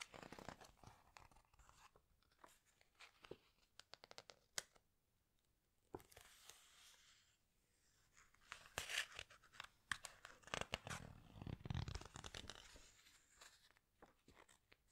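Fingertips and long nails squeeze and rub the glossy paper pages of a large open hardcover book and turn them. Dry, crinkly crunches and soft rustling swipes come in quick, close bursts. Brighter, louder page turns come in the second half.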